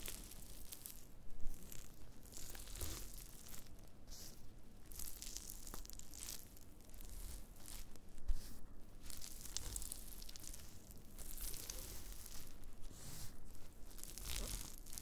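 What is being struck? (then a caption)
Dried wood ear fungus flakes on a cutting board. Black-gloved fingertips crush and scratch thin, brittle, brown flakes of dried black fungus (wood ear mushroom) on a white cutting board. The result is a continuous soft, crinkly crunching and scratching with brief sharper snaps, the energy weighted toward the low end.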